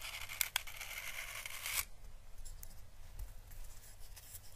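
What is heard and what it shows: A thin paintbrush slowly brushes an orange dried Chinese lantern (physalis) husk, a papery hollow shell held between fingers. A dense, bright, crackling rustle with a couple of sharp clicks early on runs for just under two seconds, then drops to a much quieter, soft papery scratching.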